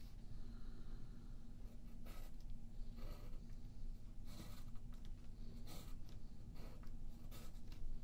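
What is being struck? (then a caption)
Wooden graphite pencil on a paper sheet over a wooden table. A yellow graphite pencil scratches lines near the edge of a thin sheet of white paper lying flat on a wooden table, held down by the left hand. Short, bright scratching strokes come and go over a steady low rumble.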